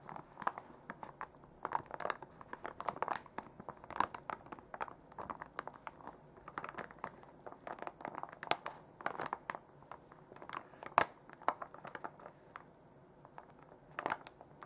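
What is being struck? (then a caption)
Soft plastic wipes pouch. A full, soft plastic makeup wipes pouch is held in the hands, then set on a table and crinkled and rubbed with fingertips and long nails. The result is a steady stream of quiet, dry crinkles and sharp plastic crackles, centred around 1 kHz with bright high edges and almost no low end.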